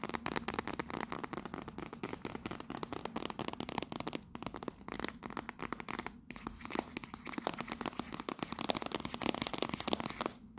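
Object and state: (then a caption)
Cardboard tea box. Long nails rapidly tap and scratch the front face of a small, closed, rectangular teal printed Fortnum & Mason 'Royal Blend' cardboard tea box held upright. The result is a dense, continuous stream of dry, crisp clicks and crackly scratches with bright edges, steady in level throughout with a faint low hum underneath.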